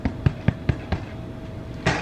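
A white sandwich loaf made with all-purpose flour, baked at 350°F for about 35 minutes and turned out of its pan, is tapped six times on its bottom crust. Each tap is a short, dull, low thud with no ring. The hollow sound shows the bread is done baking.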